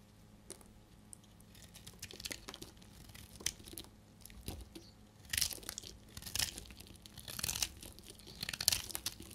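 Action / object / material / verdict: scrape / bar of soap / soap / none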